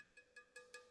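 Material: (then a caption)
Ceramic. A piece of handmade, kiln-fired ceramic reef rock used for aquascaping is tapped four times, each tap giving a short, bright, high-pitched clink. The rock rings only briefly and sounds clearly ceramic.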